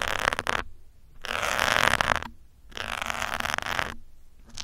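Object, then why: Foam microphone windscreen. A metal pin held from above scratches and pokes the top of a grey foam windscreen on a black microphone. It makes close, crackly, hissing scrapes in bursts of about a second, separated by short near-silent gaps. The rasping noise is bright and concentrated in the mid-to-high range, with little low end.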